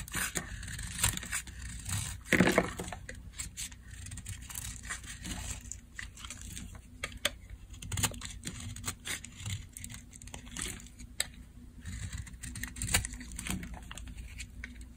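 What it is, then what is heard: Dry bar soap scraped with a blade. A metal blade scrapes and cuts dry strips off the surface of a solid cream-white bar of dry soap. Crisp, bright shaving and crumbling rasps come in a steady run of short strokes, with a louder burst early on, over a faint low hum.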